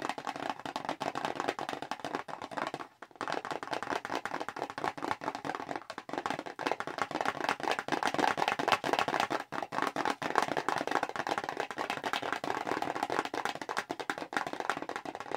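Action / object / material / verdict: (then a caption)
tap / small cardboard box / cardboard / none. Long nails tap rapidly on a small, hollow, square red Clinique paperboard cosmetics box held in both hands. The result is a dense, continuous patter of dry, papery clicks, centered in the mid-range around 1 kHz with almost no bass. Each click dies away instantly, and there is a brief pause just before the three-second mark.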